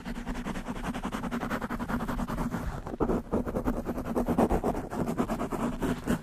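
Long nails of both hands scratch very fast on a black foam windscreen fitted over a desktop microphone. The result is a dense, continuous rasping rustle with rapid, steady scratch strokes that run together and a low rumbling body.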